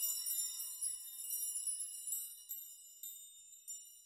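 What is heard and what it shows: Both open hands push through rows of suspended metal nails on a nail chime, swaying and shaking them so the nails knock together. A dense, bright, high-pitched jingling tinkle with shimmering ringing overtones gradually thins out, leaving a few separate clinks that ring and decay softly.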